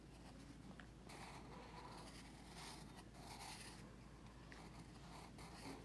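A pencil tip scratches across a paper sketchbook page resting on a teal folder while the other hand holds the page flat. The clip is quiet, with bursts of dry, bright scratching over a steady low hum.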